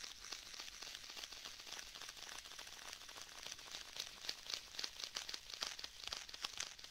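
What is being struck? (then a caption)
Faux leather tablet case. Fingertips tap, rub and press on the surface of a rigid black stitched faux leather tablet case held in both hands, with sticky finger contact. The result is a quiet, steady stream of bright, crinkly ticks and rubs with short, dry decays and little low end; the taps grow slightly sharper toward the end.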